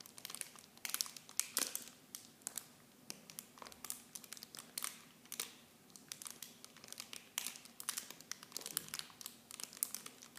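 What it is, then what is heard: Plastic film packaging. Fingertips squeeze and crinkle the clear plastic wrap of a mini shampoo set. Dense, bright crackles and crinkles come in quick, irregular bursts, each sharp snap dying away almost instantly. The sound stays quiet and thin, with almost nothing in the low end.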